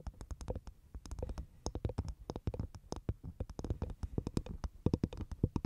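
Long nails tap and scratch the top of a dry, hollow half coconut shell with a fibrous husk, placed over a microphone. A quick, uneven run of soft, hollow low knocks, each with a faint bright click, comes with light scratching between them. Each tap dies away almost instantly.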